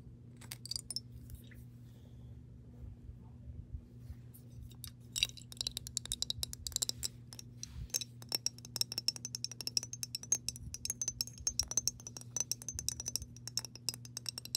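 Long pink nails tap and scratch the textured glass base of a mason jar partly filled with water. The result is a quiet, dense stream of short, bright clicks and scratchy ticks over a steady low hum, with a faint high ringing tone running through the second half.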